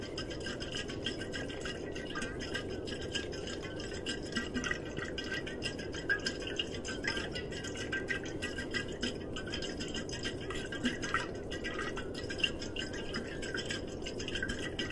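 A blue, glossy, hollow insulated metal water bottle is held horizontally and tapped and scratched with the fingertips, possibly also shaken. The result is a steady, dense stream of soft scratching and quick light taps, with faint bright metallic tones around 2.8 kHz that die away almost at once.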